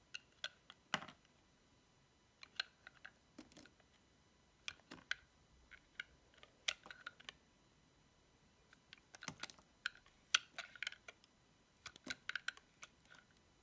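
A metal utility knife blade shaves along the edge of a dry, hand-sized, cream-white soap bar decorated with a cat face and paws, held in fingers with painted nails. Quiet, crisp, bright scraping crackles come in short separate strokes and small clusters, each ending almost instantly with no ring, set against near silence.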